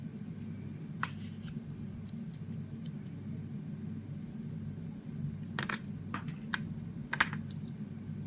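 A metal utility blade shaves curls off a solid oval pink Roxy soap bar with a ribbed edge and embossed ROXY lettering, held in the palm. Short, crisp scraping clicks come in scattered bursts over a steady low hum, with a few brighter, sharper cuts near the end.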